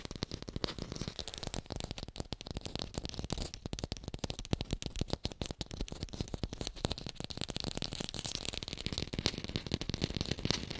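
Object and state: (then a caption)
Fake pear. Fingers tap fast on an artificial pear, recorded hi-fi, making a dense, continuous stream of short, dry clicks and knocks. The taps are heavy in low thumps, with a brighter crisp edge and no ring.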